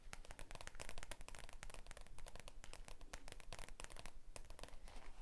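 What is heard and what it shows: A thick stack of white printed A4 paper sheets is held in both hands close to the microphone while fingertips rub and flex the edges. Dense, irregular crinkling and rustling with sharp, bright crackles continues steadily for about five seconds over a low, quiet rumble.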